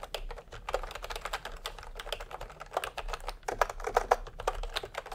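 Fingertips type continuously with both hands on a plastic retro "milk-tea" keyboard with round, typewriter-style keycaps. The result is a rapid, uneven stream of short, dry plastic clicks and clacks, with a hollow midrange tone and occasional louder, sharper keystrokes.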